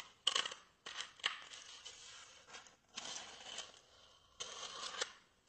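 A small, white, solid styrofoam block held in both hands is scratched and rubbed with fingernails. Bursts of dry, bright, high-pitched scratching and squeaky friction come with a few sharp clicks, separated by brief quiet gaps.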